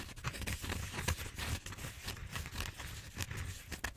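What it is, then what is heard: Styrofoam foam roller. Fingernails scratch and tap the surface of a large purple bead-foam styrofoam roller held diagonally. The result is a quiet, steady run of dry, squeaky scratching and soft, quick taps, with bright rasping bursts over a low, dull rumble.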